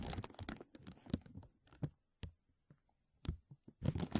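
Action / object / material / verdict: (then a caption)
tap / thin embossed plastic bag / plastic / none. A thin, clear, embossed plastic vacuum-seal bag is stretched over a mesh microphone dome while fingertips and nails tap and crinkle it. Dense crackling rustles at the start give way to sparser, sharp taps separated by silences, then build into crinkling again at the end. The sound is close, quiet and mostly low in body, with brief bright crackle on each touch.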